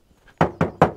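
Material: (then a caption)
Aluminium. Three knocks on the aluminium door of a Toyota GR Yaris, made of aluminium to save weight. Each knock is a short, dull thud with a low-mid body that dies away quickly, and the door sounds a bit hollow and empty.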